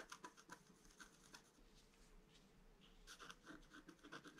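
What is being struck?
Scratch-art card with stylus.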